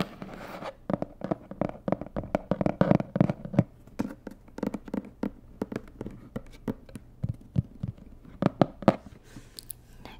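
Long nails tap rapidly on the red side of a medium, hollow, rigid white and red cardboard box. Dozens of short, dry, hollow taps come in quick, uneven bursts, each dying away almost instantly with a low, papery body.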